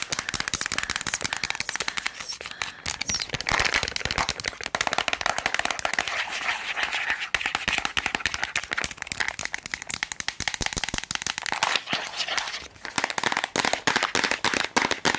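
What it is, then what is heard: Plastic tablet container. A small rectangular Bullrich tablet container, with a white plastic body, a blue lid and tablets inside its hollow body, is held close to the mic and tapped with long acrylic nails. The result is a fast, continuous stream of light, bright plastic clicks and crisp ticks with very little low end.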